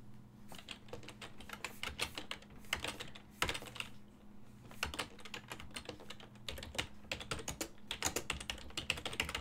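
Fingertips type steadily on a full-size silver-and-black plastic desktop keyboard with hollow key switches. The result is a continuous run of short, bright, clacky key taps with uneven rhythm and occasional louder strikes, over a faint, steady low hum.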